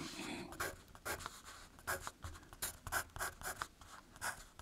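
A wooden pencil with a graphite tip writes and scratches letters on the thin printed paper page of an open spiral-bound cryptogram book lying flat over a solid backing, while the other hand's fingertips hold the page steady. The result is a quiet series of short, dry scratching strokes with a bright, papery rasp centered around 1.5 kHz, separated by brief soft pauses.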